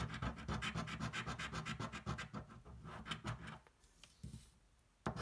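The edge of a coin scratches a thin, flat cardboard scratch-off lottery ticket held flat on a table, making fast, repeated rough rubbing strokes with a bright, gritty texture. The scratching fades to near silence toward the end, then one last loud stroke follows.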